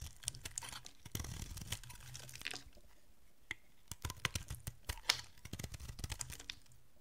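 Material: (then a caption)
Soap. A metal utility blade carves and scrapes a solid oval bar of dry green soap held in the hand, sending shavings falling off. Dry, crisp scraping and crunching runs through the clip, with bursts of brittle crackle and sharp, bright clicks as the blade bites and chips away at the bar.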